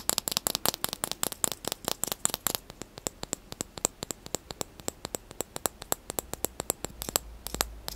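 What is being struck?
Plastic spoon.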